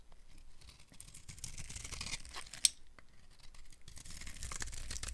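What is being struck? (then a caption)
Soap bar scraped with a metal knife. A metal knife scrapes a dry, silver-painted Ivory soap bar, solid white inside, into curled shavings. The result is a steady, bright, rasping crunch with a low rumble underneath and one sharp, high click partway through.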